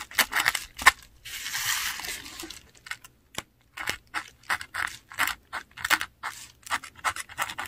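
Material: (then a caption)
Paper. A metal dip pen nib scratches across a flat sheet of textured Korean paper while writing inked words. Short, bright, dry scratches come in quick bursts separated by brief silences, with one longer continuous stroke near the start. There is almost no low end.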